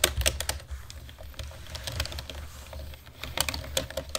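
A black plastic computer keyboard is typed on with fingertips and nails as the hands move across the keys. Bright, sharp clicks and taps come in quick bursts at the start and end, with softer, sparser tapping in between over a steady low hum.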